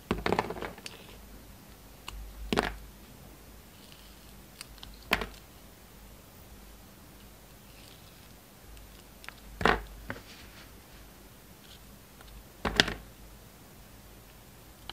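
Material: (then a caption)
Soap. A utility knife blade cuts and scrapes the surface of a rectangular solid soap bar, black with white stripes and purple dots, held in the hand. Short, crisp, bright scraping cuts come every few seconds with almost no ring, separated by quiet background hiss.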